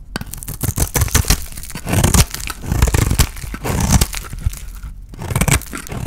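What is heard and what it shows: A utility knife blade scrapes and shaves flakes from the edges of a small, rounded-square cream soap bar with a blue painted edge, solid and dry and held in the hand. Dense, dry crunching and tearing scrapes come in rapid strokes and louder bursts, with a heavy low thump under bright, crisp shaving noise and a brief quieter gap near the end.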